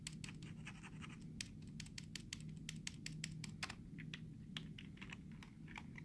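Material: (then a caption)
Plastic. A short fingernail taps and scratches the space bar and letter keys of a black plastic computer keyboard. Quick, bright plastic clicks and dry scratching rasps come in an uneven stream over a steady low hum. The clicks are short and die away almost at once.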